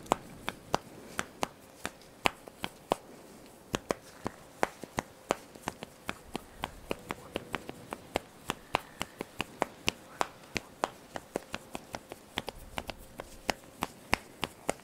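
Fingertips and nails pluck, scratch and rub the thin black elastic straps of a strappy top worn on the chest, close to the microphones. About fifty sharp, dry snaps ring out at an uneven, medium-to-fast pace, each dying almost instantly, with bright edges and little low end. A faint steady tone sits near 500 Hz underneath.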